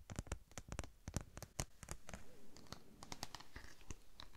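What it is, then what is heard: Thin vinyl sheet, scratched and tapped. A thin, flexible red holographic vinyl sheet with an embossed tread pattern is held in both hands, bent, and scratched or tapped with long nails. A quick run of sharp, dry clicks and taps with bright edges gives way to softer, crinkly scratching and bending noise.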